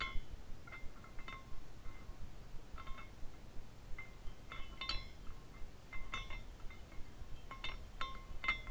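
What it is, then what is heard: Glass carousel figurine clinking. Fingertips turn the top flag of a small clear glass carousel figurine so it spins, and its dangling glass horses knock together. Light, bright clinks and short ringing chimes come in irregular clusters, with faint tones around 1 and 2 kHz, over a low, steady background rumble.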